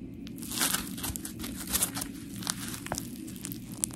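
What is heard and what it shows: Long pink nails squish and scratch a solid, palm-sized, round blue textured polymer foam scrub sponge with smiley cut-outs. The result is a steady, gritty crackle and crinkle with bright, sharp scratch bursts over a low, constant rumble.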